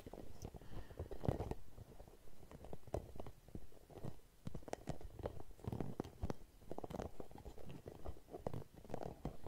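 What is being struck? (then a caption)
Hollow rubber spiky massage ball. A red, translucent, hollow, hand-sized rubber massage ball with spikes is scratched and tapped with long nails and fingertips close to the mic. Soft, dull taps and rubbery scratching come in an irregular, fairly quick patter, mostly low and muffled with brief bright clicks.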